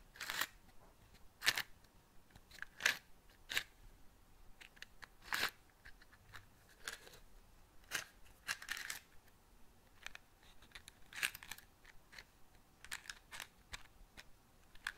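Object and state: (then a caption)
Cardboard matchbox. A small patterned cardboard matchbox is held up near the mic, tapped and scratched with long nails, and turned in the hands. Quiet, dry, crisp taps and short scratchy rustles come in irregular bursts with bright, papery highs and almost no low end. Each sound dies away almost at once.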